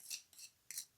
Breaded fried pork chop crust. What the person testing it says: they're sounding beautiful. Can you hear that? Hear how crispy that is?